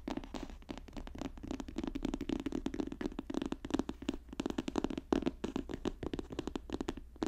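Fingertips tap and scratch rapidly on a paper notebook, producing a dense stream of short, dry taps with almost no ring. The taps center on a muted low-mid thump around 300 Hz with soft scratchy texture above it, over a faint steady low hum, at a fairly quiet and even level with a few sharper peaks.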